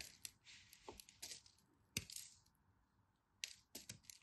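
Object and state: Dry crumbly soap carved into crumbs.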